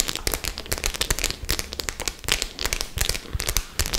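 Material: Metal studs.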